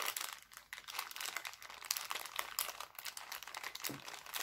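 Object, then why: Thin plastic cellophane bag. Hands scrunch and crinkle an empty, thin, clear heart-printed cellophane bag. The result is a continuous stream of sharp, bright crackles and crinkles with almost no low end, each snap dying away almost instantly.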